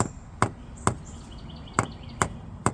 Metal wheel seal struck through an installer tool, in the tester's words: No matter where you tap it, you're hearing that solid sound because it's all the way in there